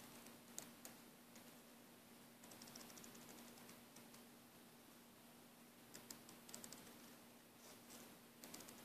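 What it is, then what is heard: Braided nylon air hose. A thumbnail and fingers scratch and rub the braid of a green braided nylon air hose, giving quiet, dry ticking scratches and soft rustling in scattered bursts. A steady low hum runs underneath throughout.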